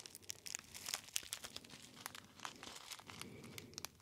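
A small gold metallized foil tea bag pouch with a label is crinkled and rubbed by fingertips close to the ear. Quiet, bright, crackling crinkles come in quick, short bursts over a soft rustling bed, with almost no low end.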